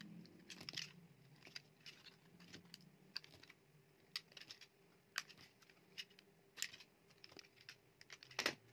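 A solid, dry mint-green bar of soap is shaved into thin slices with a metal utility knife blade, and then a remnant is broken apart by the fingers. Quiet, bright scraping and crisp crunching cuts repeat throughout, over a faint low hum, ending with a louder snap near the end.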